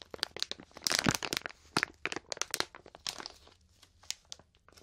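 A medium printed plastic snack bag full of grape marshmallows is held in both hands and squeezed and crinkled with the fingertips and long painted nails. The result is a dense run of bright, sharp crinkles and crackles, loudest and most tightly packed near the first second, then thinning into scattered short snaps with almost no ring.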